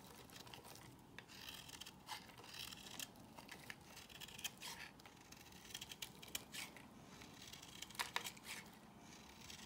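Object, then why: Solid bar of soap shaved with a blade. A solid white rectangular La Prairie bar soap, held in the hand, is shaved with a box cutter blade into crumbly curls. Soft, dry scraping and crisp crumbling strokes repeat in quick bright bursts over a faint, steady low hiss. The overall level stays quiet.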